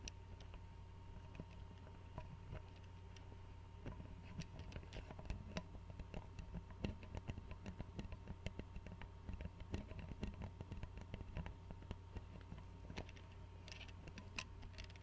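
Fingernails tap rapidly on the glass neck and screw cap of an Arizona glass tea bottle filled with tea and held sideways. The result is a quiet stream of short, crisp clicks over a steady low hum.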